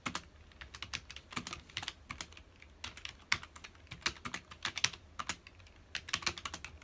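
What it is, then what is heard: Plastic computer keyboard being typed on. Fingertips of both hands rapidly press the keys of a full-size black plastic computer keyboard resting on a dark desk. A quick, uneven stream of short, bright plastic clicks and taps follows, each dying away almost at once with very little low end beneath them.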